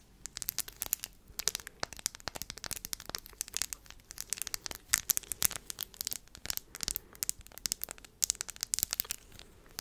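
Long manicured nails tap and scratch across a small round wooden disc covered in glued-on flat blue, green, black and clear glass gems, held in the hands. A rapid, irregular stream of sharp, bright clicks and crisp scratching crackles with almost no low end, each tick dying away instantly.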